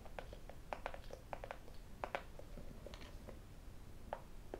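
A small, hollow, white cardboard iPhone box is turned in the hands and tapped with fingertips and metal rings. An irregular series of short, hollow taps sounds around 550 Hz, each dying away almost at once, with brighter clicks from the rings over a low, soft background rumble.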